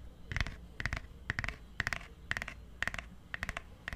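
Fingertips and nails tap on the cover of a purple hardcover book held close to the mic, in a quick, typing-like pattern. Short bursts of crisp clicks come in uneven clusters, each with a bright ping near 2 kHz over a soft low thump, and every tap dies away almost at once.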